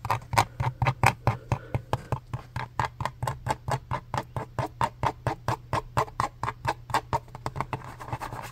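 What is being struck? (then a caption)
Plastic lotion bottle. Fingertips tap and scratch the label side of a medium-size, hollow, white plastic Lubriderm lotion bottle held in the hands. About three dozen quick, hollow taps come in a steady run, each with a clicky tone around 840 Hz and a bright edge that dies away almost at once. A low steady hum sits underneath, and a soft scratchy rustle rises near the end.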